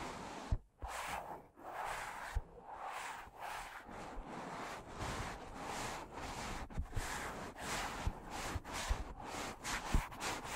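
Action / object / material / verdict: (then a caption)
scrape / foam microphone windscreen / foam / none. Fingertips slowly rub the porous foam of two matching black foam windscreens on stand microphones, making a steady, close, sanding-like rustle with bright hiss. A few soft, low bumps punctuate the continuous scratching.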